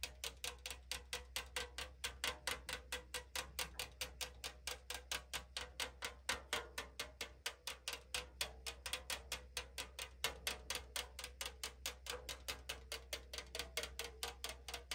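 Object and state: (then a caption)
Aluminum drink can tapped with nails. Long nails tap and scratch along the side wall of a tall 500 ml aluminum drink can, giving a rapid, somewhat uneven stream of bright, hollow, thin-metal clicks at about two per second. Each tap dies away almost instantly over a faint, steady low hum.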